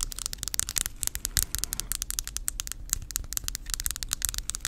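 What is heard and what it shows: Long acrylic nails rapidly tap and scratch the solid, flat light-wood back of a hand-sized round brush, which is printed with a brand name and faces the mic. The result is a fast run of sharp, dry clicks and crackly scrapes, bright in the highs and dying out almost instantly, over a low background rumble.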